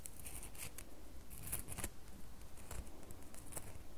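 Fingernails scratch the surface of a solid red bar of soap held in the fingers. Quiet, irregular bursts of dry, bright scratching and crackling sit over a steady low rumble.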